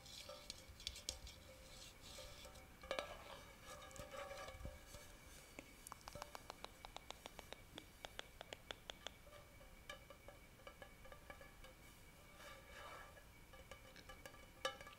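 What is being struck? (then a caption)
Metal tin lid tapped with fingernails. Long painted nails tap and scratch the flat metal lid or base of a round, hollow, empty-looking silver metal tin held up in both hands. Quiet, bright, sharp clicks come in quick runs, each with a brief metallic ring around 1.3 kHz. Softer raspy scratching swells in between.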